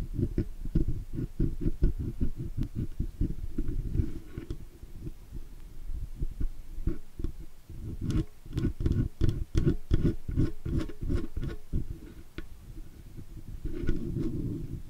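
A steel dental pick scratches around the rim of a round metal mute button with a red LED on a metal microphone body, and across the nearby surface. The result is a dense run of short, dull, low scraping taps in uneven bursts, with faint bright ticks and almost no ring.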